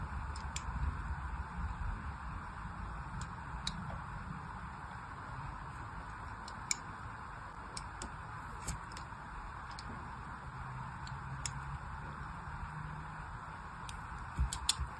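A small blade scores parallel grooves into a solid pink glycerin soap bar held in the hand. Quiet, irregular, crisp ticks and scratches sound over a steady low rumble and hiss. Each cut is brief and bright, with no ring afterward.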